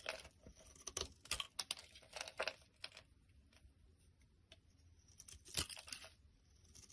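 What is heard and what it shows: A black utility blade scrapes and crumbles the surface of a solid, hand-sized lilac Palmolive bar of soap held in the hand. Dry, bright crunching and scraping bursts cluster over the first three seconds. A quieter stretch of faint crackling follows, then one more sharp crumbling scrape near the end.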